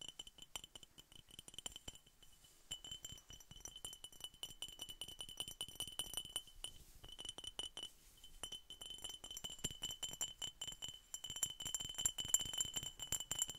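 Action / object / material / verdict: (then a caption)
tap / glass bottle / glass / none. A glass Coca-Cola bottle is tapped over and over in a quick, uneven rhythm. The taps make soft, bright clinks that die away almost at once, and a steady high ring runs underneath them. The tapping gets a little louder toward the end.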